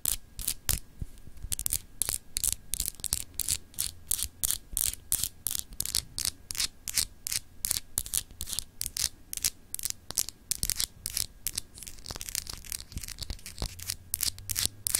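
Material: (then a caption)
Glass. Long acrylic nails scratch along the etched, textured continents of a palm-sized solid clear glass globe paperweight held in the hand. Dozens of quick, dry, bright scratching strokes follow one another with no ring after each, over a faint low hum.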